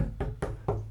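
Taps on the varnished wooden front panel of a resonant loudspeaker cabinet. Four short, dull knocks are heard, with low-pitched body tone and little ring. The tapped sound is more or less even across the panel.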